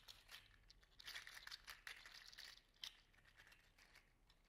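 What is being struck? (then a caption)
3D printed plastic articulated toy with hollow segmented links. A hand-sized, yellow-green metallic 3D printed plastic articulated slug toy made of segmented hollow links is curled and bent with the fingers. Its segments clack and rub in a quiet, bright, irregular stream of dry crinkling clicks with short bursts of louder clatter.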